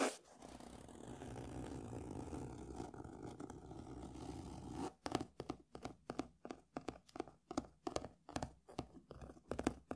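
Fingernails and fingertips scratch across the paper cover of a closed beige hardcover book lying on a table. A steady, dry scratching fills the first half, then it breaks into a quick series of short, sharp scrapes with brief silences between them.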